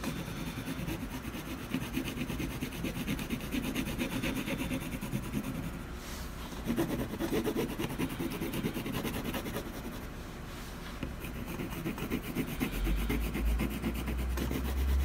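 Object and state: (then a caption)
Canvas panel being shaded with coloured pencil. A colored pencil tip scratches and shades back and forth across a flat primed canvas panel with a drawn owl on it, backed by a solid board. A steady, dense rubbing hiss runs throughout, easing briefly around 6 and 10 seconds, with a low rumble building near the end.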